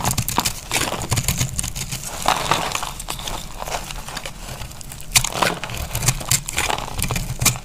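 A dry, pressed green-and-orange multicolor soap bar held in the hand is cut with a utility knife blade, crumbling as it goes. Rapid dry scraping and crunching clicks with bright transients repeat throughout over a low rumble, each sharp crack dying away almost instantly.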